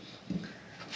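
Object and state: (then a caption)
Baked-through pot bake bread (hollow). A pot bake bread, the second one cooked on a lower flame, is tapped on its crust and gives a short, low, hollow thud. The hollow sound shows the bake is finished and nicely cooked, and a faint hiss rises at the end.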